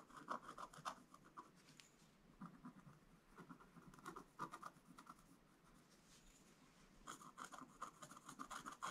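A wooden stylus scratches vertical lines into a flat, black-coated scratch-art card page. Quick, dry scratching strokes with a thin squeaky tone near 1 kHz and a faint bright edge come in three bursts, separated by quieter stretches of soft rubbing.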